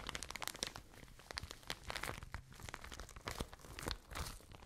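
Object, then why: Soft plastic bag of cotton wool. A full, soft plastic package of cotton wool is crinkled and squeezed with fingertips and long nails. It makes dense, bright, crackling crinkles with quick, dry clicks and almost no ring.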